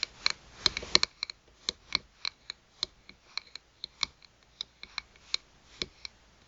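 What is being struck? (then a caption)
Small round glass pocket mirror in a plastic rim. Long pointed nails tap and scratch the glass face of a small round pocket mirror set in a white rim, lying on a mat. The result is a quiet, uneven series of sharp, very short clicks with a bright, high glassy tick, denser at the start and then spaced out, with faint scratching in between.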